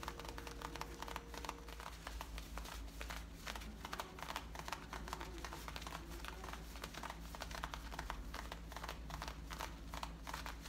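Long painted nails scratch along the waistband above the back pocket of worn, light-blue distressed denim jeans. The result is a quiet, continuous run of rapid, dry scratching strokes with brief bright bursts over a low steady hum.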